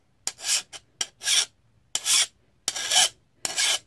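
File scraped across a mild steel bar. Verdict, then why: Soft. A file is run over an ordinary bar of mild steel in repeated strokes, producing a bright, high-pitched rasping scrape as it bites into the soft metal. The file grips rather than skating, sounding different from the way it does on a hardened blade.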